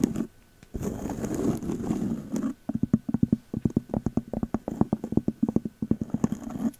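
Fingertips wearing long metal claw nail covers scratch and tap the round cork lid of a glass candle jar that appears full of wax and is labelled "Magic Berries" home fragrance, held close. A brief opening tap and two seconds of dry, rustling scratching give way to a quick run of soft, dull, hollow taps that die away at once.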